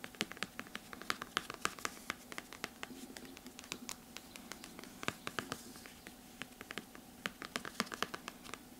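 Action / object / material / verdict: scrape / hardcover book with glossy cardboard cover / cardboard / none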